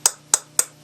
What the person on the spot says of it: this is heavier and the sound is different if I tap this one it's a sharp sound